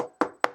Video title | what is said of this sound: Wait, What Is Kundalini Again? | this table but I'm knocking on it it's solid uh it's there